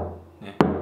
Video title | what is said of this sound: 하영하영의 기타 두번째 시간 지우드 커스텀 | 툭툭만 쳐도 굉장히 울림이 좋아요